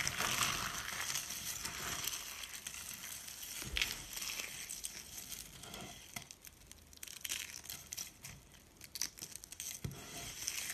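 Fingertips rub through a pile of lilac dry soap shavings and small curls, crushing the flakes between the fingers. A dense, continuous bright crunching and crinkling fills the clip, with louder crackling bursts rising and fading throughout. Each crunch is short and dry, with almost no low end.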